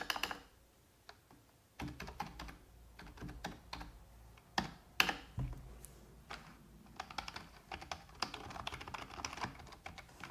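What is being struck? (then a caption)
Plastic computer keyboard. Long red-painted nails and fingertips of both hands type on a full-size black plastic computer keyboard with hollow keys. The result is an irregular run of bright, hollow clicks and taps that come in bursts with short pauses between them, some keystrokes sounding louder and sharper than others.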